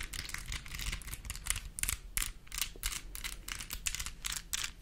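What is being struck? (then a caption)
Small plastic puzzle cube. A small plastic mini Rubik's cube, possibly on a keychain, is held close and its layers are twisted and tapped with long nails. The result is a rapid run of bright, clicky rattles over a faint low rumble.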